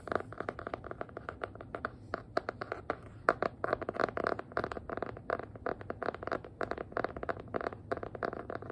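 A small black hardcover notebook with an elastic band and a faux-leather cover over board, holding a solid paper block, is tapped and scratched with long nails. A rapid, steady run of short, dry clicks and scratchy taps is heard, with almost no ring and energy centred in the mids around 1.4 kHz.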